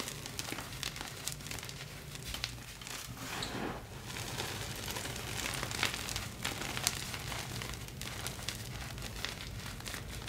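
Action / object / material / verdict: scrape / block of gym chalk (magnesium carbonate) crumbled by hand / magnesium carbonate / none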